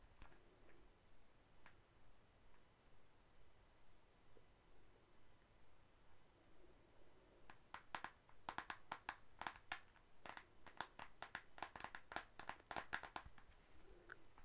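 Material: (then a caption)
Cardboard. Long acrylic nails tap the front face of an Anastasia Glow Kit, a flat rectangular cardboard-covered highlighter palette with a hollow case and pans inside, held in both hands. After several seconds of near silence with only faint, sparse ticks over a low background hum, a run of quick, dry, clicky taps begins. The taps are short and bright and die away almost instantly.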